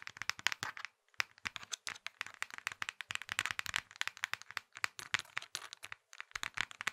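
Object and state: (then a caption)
Plastic mobile phone casing. A small, hollow plastic Nokia mobile phone is held in both fists while fingers squeeze and rattle its casing with rapid taps. The result is a dense run of dozens of sharp, dry plastic clicks and crackles, bright with almost no low end. Brief pauses break the run around one second and six seconds.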